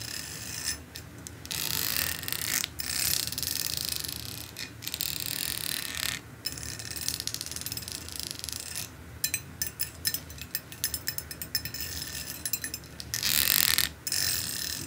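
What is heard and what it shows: A long steel pet comb with thin, fine teeth lies flat on dark fabric while a long nail strums and scratches across its teeth. Bright, high metallic scraping swells come in long bursts, broken up by quick ticking plucks of the teeth.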